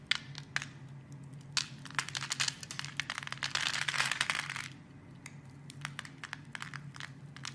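A metal blade carves cubes off a solid, hand-sized mauve-pink soap bar scored in a grid. Crisp, bright crackling snaps and scrapes come in quick, irregular succession, swelling into a dense crumbling rush midway before thinning back to scattered sharp clicks. A faint steady low hum runs underneath throughout.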